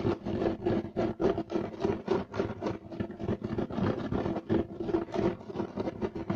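Short-nailed fingers, held clawed, scratch rapidly across a solid, flat beige striped woven loop-pile carpet. The result is a fast, uneven run of dry, rough scratching strokes with a gritty texture and a low-mid body. Each stroke stops dead with no ring.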